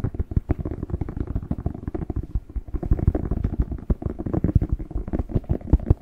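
Fingertips tap and scratch the skin of a whole, fresh, hollow, hand-sized red bell pepper held in both hands. The result is a rapid, continuous run of soft, dull, low thumps with faint scratchy texture and almost no ring.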